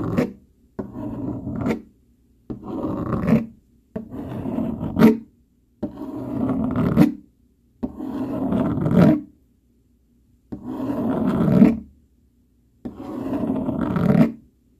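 A hand-held dark plastic fork scratches and scrapes over a flat brown cardboard sheet in eight separate strokes, each about a second long and separated by short silences. Each stroke is a dry, rasping scrape centred in the low-mid range, with a brief bright edge at the start and end of the strokes.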